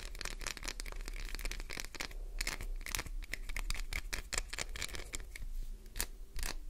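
Long white-tipped nails scratch fast across the embossed face of a solid translucent green glycerin soap bar, leaving scratch marks. Dense, rapid bursts of bright scraping and scratching run continuously over a low steady hum.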